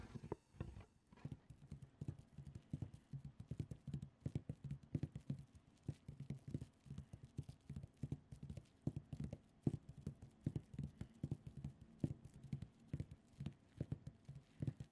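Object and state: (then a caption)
Cotton terry towel. Long acrylic nails scratch and rub with both hands across a colourful printed cotton terry cloth towel lying flat on a soft surface. The result is a quiet, steady stream of quick, soft, muffled scuffs and taps, heavy in low tones with little brightness, each dying away almost at once.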